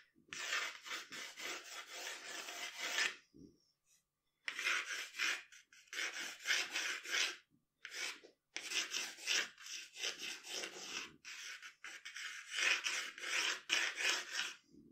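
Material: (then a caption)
Paper. A pencil scratches long hair strokes across a flat sheet of drawing paper, making a bright, dry rasping sound. The quick strokes come in dense runs separated by short pauses.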